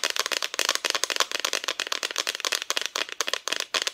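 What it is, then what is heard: Painted wooden Christmas decoration. Long nails tap rapidly on a flat, thin, solid cut-out plywood Christmas decoration with a painted front. The result is a quick, dense stream of dry, bright clicks with almost no low end and very short decay, like a crisp rattle.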